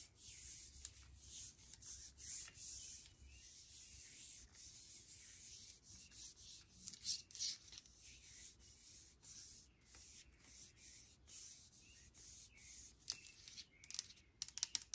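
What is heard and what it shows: Fingertips and nails rub the surface of a brushed aluminum sanitizer bottle held in the hand. Quiet, bright, hissy scratching strokes repeat in an uneven, quick rhythm, with a few sharper clicks near the end.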